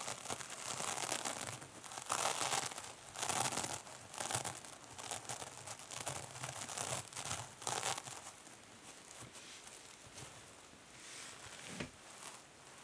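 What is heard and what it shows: Long nails scratch and press the top of a small silver mesh-covered foam sponge resting on a table. The result is bursts of bright, crinkling, tearing-like scratches that swell and fade. The scratching grows quieter and softer toward the end.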